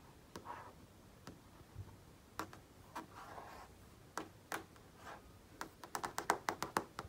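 Fingertips with painted nails tap and trace on the smooth front surface of a large, solidly mounted flat-panel TV screen. The sound is a series of short, dry taps with soft swishing tracing strokes between them, and the taps come in a quick run near the end.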